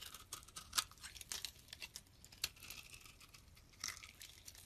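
A metal blade shaves the rounded surface of a solid pink oval bar of soap held in the hand. The clip is made of quiet, crisp, irregular scraping and crumbly crunching strokes, mostly bright and high in tone with very little low end. A few sharper peaks stand out from the steady rustle.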